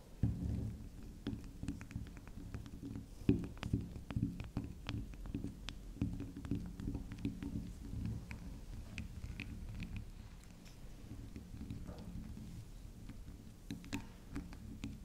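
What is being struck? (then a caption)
Small round soap bar. Long acrylic nails tap and scratch the top and edges of a small, round, solid pink spiral soft soap. Quick, soft, dull taps and light scratching patter on steadily, over a low, continuous hum.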